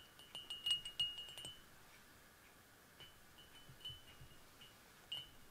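Fingers and a fingernail tap an empty, hollow clear glass Irish coffee mug, a footed mug with a handle standing on a cork table. Quick clusters of bright, chime-like pings ring around 2.9 kHz. The taps come densely at first, then slow to scattered single taps, each ringing briefly before fading.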